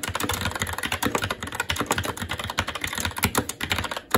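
Fingertips of both hands type continuously on a SteelSeries Apex 7 TKL mechanical keyboard with Red switches, black plastic keycaps on a metal plate, and a hollow RGB-backlit case resting on a desk. A rapid, steady stream of short clacking keystrokes with a low hollow thud and bright plastic clicks, each dying away almost instantly.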